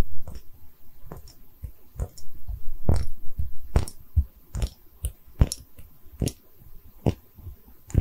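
A small cream-colored hollow porcelain liquor bottle with a textured surface is held in both hands, briefly tilted, and tapped with long red nails. Irregular, short, dry taps and soft scratchy clicks sound with a dull, low body and quick sharp ticks that die away almost instantly.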